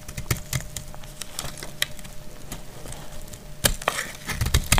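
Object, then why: Bar of soap. A solid, dried white soap bar held in hand is scraped and cut with a utility knife blade, and chalky flakes fall away. The clip is a series of short, dry, crisp scraping and cracking snaps with a woody, splintery texture over a soft, low background. Louder bursts of cutting come in the final second and a half.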